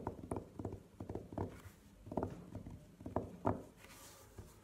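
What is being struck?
Velvet-covered hard jewelry case.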